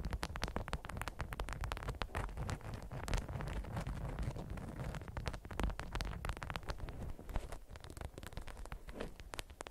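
A bundled, watermelon-patterned beeswax-coated cotton food wrap is scratched on a mat, then picked up, squeezed and crinkled with long acrylic nails. The result is a dense, continuous stream of soft crackles and crinkles with a low rumbling body and short, dry transients.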